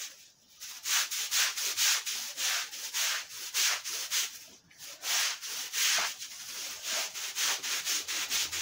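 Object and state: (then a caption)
Wet woven rug being brushed. A flat, thin, patterned woven fabric rug, soaked wet and lying on a concrete floor, is scrubbed back and forth with a long-handled stiff bristle floor brush. Each stroke gives a bright, hissing, wet scratch with watery texture, repeating in a steady rhythm with brief quiet gaps between strokes.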